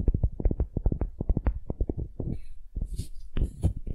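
A solid wooden ball held in both hands is tapped and scratched with long nails. A rapid run of dull, low, dry taps gives way to softer scratching with brief bright rasps and a few more taps near the end.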